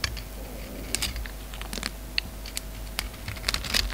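An oval solid bar of soap with a purple pearlescent coating and a black interior is held in the hand and shaved with a utility knife. A run of short, crisp scraping clicks and crackles, bright and dry with almost no ring, sits over a faint steady low hum.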